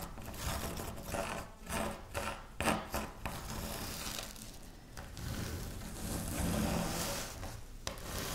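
Both hands with long nails scratch, rub and crush a pile of dry wafer biscuit crumbs on a pinkish speckled surface. The result is a continuous dry crackling and scraping texture, with brief sharper crunches rising out of the steady rustle and bright, crisp edges over a fuller low body.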